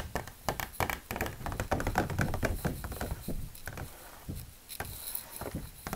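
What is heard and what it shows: A thin, stiff, folded laminated medical reference brochure is held up and tapped with long plastic fake nails. Quick, irregular taps and soft thunks overlap in a rapid patter, each dull and short with little ring and mostly low-end weight.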